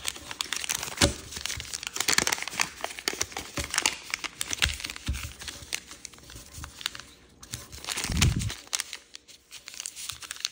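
Fingertips crease and rub the thin layers of a purple kaleidoscope origami paper sheet folded into a crane base. The result is dense, bright crinkling and crackling, with quick sharp creases throughout and a fuller, lower rustle near the end.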